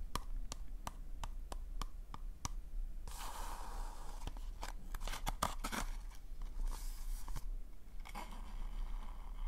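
Fingernails tap and scratch the glossy surface of a hollow pink polka-dot paper cone party hat, held and tilted close to the microphone. A run of sharp, dry taps gives way to bursts of bright, crackly scratching that rasp across the paper, over a steady low background rumble.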